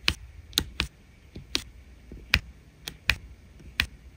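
A diamond painting drill pen taps repeatedly on resin rhinestone drills set on an adhesive canvas, making eight short, sharp, bright clicks at an irregular pace. Each tap is crisp and dies away almost instantly over a faint low background hiss.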